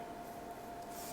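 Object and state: Nothing is struck.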